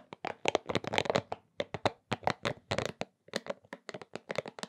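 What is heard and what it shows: A pink soft rubber spiky massage ball is rubbed and squeezed in both hands and patted with the open palm. This produces a rapid series of short, crackly, squeaky rubbery bursts with a faint mid tone, separated by brief silences.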